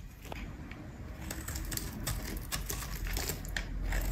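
A metal utility blade shaves flakes off a dry, solid, cream-colored square bar of soap with embossed text, held in the hand. Irregular, crisp scraping and cutting ticks with bright, brief transients sound over a low, rumbling bed, growing gradually louder across the clip.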